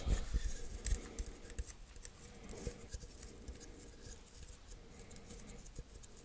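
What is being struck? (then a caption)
Small glass jar. A small, hollow, apparently empty clear glass jar or cup is held in both hands and tapped and scratched with fingertips and nails. Quick, irregular soft taps with dull low thuds and faint scratchy rasps. Each tap dies away almost instantly, with louder taps at the start and a quieter, steady patter after.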